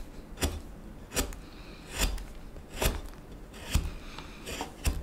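A small knife shaves a solid wooden spoon blank along its neck and bowl in scraping strokes. Each stroke is a short, dry rasp with a bright, hissy edge over a low thump, repeating at a slow, uneven pace with quiet pauses between.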